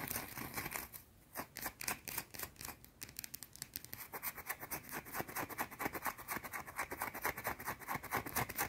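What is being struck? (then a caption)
Round soap bar. A small, solid, round white soap bar is scratched with long blue-painted nails, producing fast, dense, bright scratching and scraping strokes. The strokes come in quick, somewhat irregular bursts with a brief pause near the start, then build to a steady rapid rhythm.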